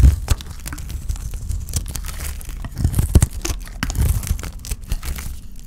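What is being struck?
Bar of soap shaved with a knife blade.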